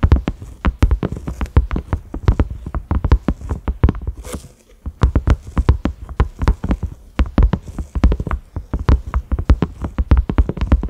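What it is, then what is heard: Silicone lid. Both hands tap rapidly with their fingertips on a large, round, cream silicone lid with concentric ridges and a grey knob. The result is a fast, uneven patter of soft, dull, low thuds that stop almost instantly, with a brief lull just before the midpoint.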